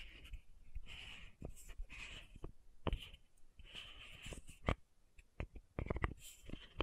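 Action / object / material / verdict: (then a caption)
tap / plastic bottle with metal cap / plastic, metal / none. Long nails tap and scratch the top of the metallic cap on a small pink plastic sunscreen bottle held upright. Stretches of soft, hissy scratching alternate with short, sharp clicking taps that die away almost instantly. The sound is quiet and close, with a dull low body under the brighter scrape.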